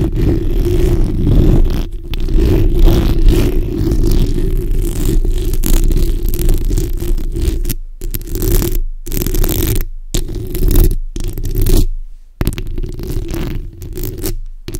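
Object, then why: Steel mesh microphone grille. The backs of long nails scratch over a black hollow steel mesh microphone grille, producing a dense, continuous rasping scrape with a heavy low rumble and a steady band in the low-mids. The scratching runs in bursts, broken by brief silent gaps in the second half.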